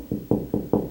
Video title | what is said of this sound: How to Find Wall Studs When Installing Closet Shelves | if it sounds hollow like that you know there's no stud there